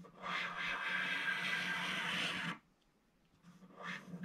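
A thin wooden stick scrapes along the lower edge of a flat, black-coated scratch-art paper page. It makes a steady, bright, raspy scratching from about 0.3 to 2.5 seconds, then cuts off abruptly into near silence. A second scrape starts at about 3.5 seconds and grows louder to the end.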